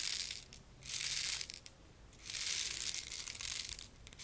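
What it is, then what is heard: Plastic rain maker tube with beads. A small purple and green plastic rain maker toy, a hollow see-through tube filled with small loose beads, is held in one hand and tilted so the beads trickle through the inside. It makes a bright, hissing rattle of pattering beads in three surges, each fading to near silence between turns.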